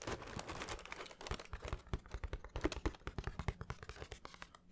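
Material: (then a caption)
Cardboard. A plain brown cardboard shoe box, hollow and closed, is held up near the microphone and tapped with the fingernails and fingertips. Quick, irregular taps and scratchy clicks come in a dense flurry at first, then thin out into sharper, separate clicks. Each tap is short and dry with no ring, mixing a hollow low thump with a crisp nail tick.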